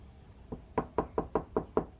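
Knocking on the steel door panel of a Honda Prelude fitted with sound deadening inside gives seven short, dull knocks: a faint first one, then six firmer ones. Each has a midrange body, little high-frequency ring and dies away almost at once. The treated door sounds solid, like a luxury car's, compared with an untreated door.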